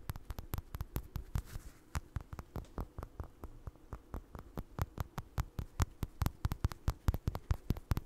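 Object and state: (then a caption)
Crocheted yarn toy. Fingertips and nails tap and scratch a small, soft, stuffed orange crocheted doll with eyes, held close to the mic. A quick, uneven run of short, dull, muffled taps with brief bright clicking edges sits over a faint low hum. Each tap dies away almost instantly.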